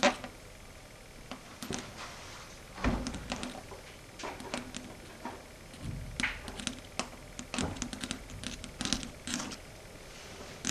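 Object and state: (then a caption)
Chalkboard tapped with long nails. Long red stiletto nail tips tap and click on a flat matte dark grey chalkboard. Sharp, bright clicks and duller taps come in irregular clusters over a quiet background, each one dying away almost at once.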